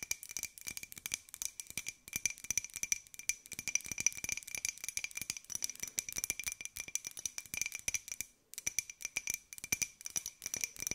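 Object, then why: Small ceramic jar. Long nails rapidly tap and scratch a small, hollow white ceramic jar with a pink and gold pineapple print. The result is a dense stream of crisp, bright clicks with short, glassy rings near 2.4 kHz and higher. Brief pauses fall around 2 and 8.5 seconds, and there is almost no low end.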